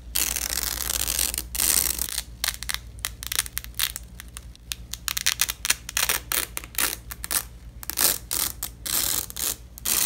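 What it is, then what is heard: Velcro strap being ripped apart. Gloved fingers grip a purple nylon hook-and-loop (velcro) strap crossed over itself and rip the fastened sections apart. Bright, crackling tearing rasps come in repeated bursts of varying length, separated by short pauses, over a faint steady low hum.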